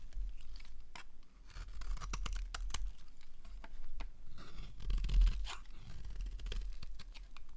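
A small blade carves curled strips from the edge of a solid, rectangular, darker-green dry bar of soap held in the hand. Crisp scraping and crunchy tearing strokes repeat over a constant low rumble.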